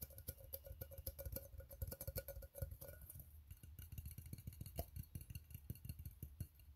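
Fingertips tap the ribbed sides and closed bottom lid of an empty, open steel tin can, giving quick, dull, hollow knocks with a faint metallic tick. Energy sits mostly in the low end, with brief bright edges on each tap. The taps come in an irregular, rapid flurry, each dying away almost at once.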